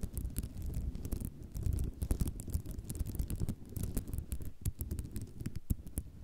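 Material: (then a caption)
Ceramic. Long nails tap quickly with both hands across a flat sheet of small white square ceramic mosaic tiles laid on cloth. The result is a dense, continuous patter of short, dry clicks with bright, sharp ticks over a soft low rumble.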